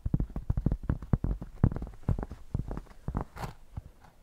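Long nails scratch across the surface and edges of a thick, solid cork square held up in the air. The result is a quick, uneven run of short, dull, bassy scrapes and thumps with almost no ring. One brighter, hissier stroke cuts through near the end.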